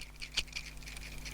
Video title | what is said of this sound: From Skeptic to Admirer: My Surprising Experience with the Baltic MR01 Dress Watch | the rotor inside this movement is a bit loud